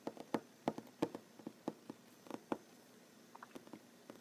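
Short fingernails of one hand tap on a large solid wooden tabletop, making about 16 quick, dry, woody clicks in an uneven rhythm. Each tap dies away almost at once, with a warm mid-low body. The taps are strongest in the first half and trail off into softer, lighter taps.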